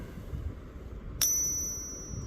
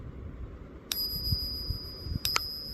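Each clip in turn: First: 40% silver half dollar. Second: real 90% silver half dollar.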